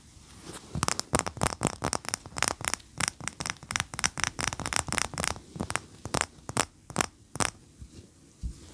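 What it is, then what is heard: Wax pillar candle tapped with fingernails. Long fingernails tap quickly on a large, cream, solid wax pillar candle standing upright. About 27 sharp, dry clicks with bright, crackly tops come in an uneven rapid run, each dying away almost instantly.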